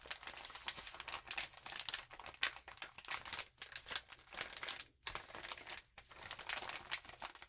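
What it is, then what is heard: Glitter-coated paper sheet. A lined notebook paper sheet with a rainbow glitter patch lies flat while both hands rub and scratch it with long nails. The result is a dense, bright crinkling and scratching texture with almost no low end, broken by a few brief pauses.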